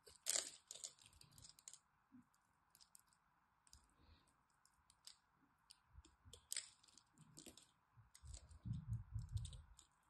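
A blade pries and scrapes small cubes off a solid green soap bar that has been cut into a grid. Irregular, crisp crunching clicks and bright snaps are heard over a steady low hum, with a few dull, heavier thuds toward the end.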